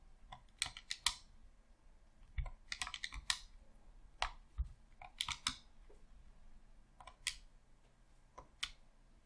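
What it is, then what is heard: Plastic game controller buttons clicking. Thumbs rapidly click the D-pad and buttons of a hollow red plastic Xbox controller. The result is quiet, sharp, bright plastic clicks that come in irregular bursts and die away almost instantly, with faint low rumble between them.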